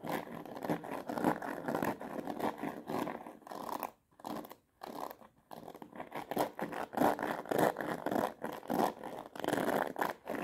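Long nails strum and scratch quickly across the many plastic pin bristles of a black plastic paddle hairbrush set in a rubber cushion. The result is a dense run of dry, raspy, midrange scratching bursts, broken by a few brief near-silent pauses around the fourth and fifth seconds before the fast strumming resumes.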